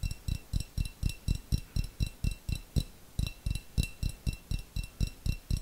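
A small, clear, hollow glass jar with a little contents at the bottom is tapped rapidly with long fingernails. It makes a steady run of quick, dry taps, about four per second, each a soft low thump with a bright clicky tick on top that dies away almost at once.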